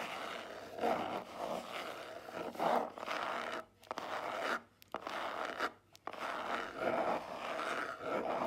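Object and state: Cardboard jewelry box.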